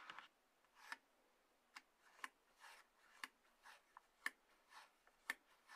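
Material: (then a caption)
Cardboard. Long nails scratch and rub the sides of a small, closed, hollow white-grey cardboard box, the lower part of an iPhone package, resting on a table. Soft, papery scraping swishes alternate with nine sharp, bright clicks, each dying away almost instantly. The sound is thin and dry, with no low end.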